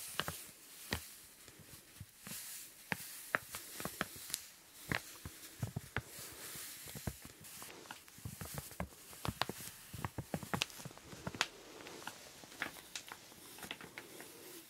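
A small clear plastic zip-lock bag, partly filled with pink powder and held in both hands, is tapped and squeezed with nails and fingertips. Sharp, crisp plastic clicks and crinkles come in a quick, uneven string, with the powder pattering and shifting softly underneath at a quiet level.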